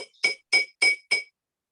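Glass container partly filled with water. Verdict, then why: Low. A spoon taps a container holding a low amount of water four times, each strike giving a bright, glassy clink. Each clink has a clear ringing tone near 2.3 kHz that dies away within a fraction of a second.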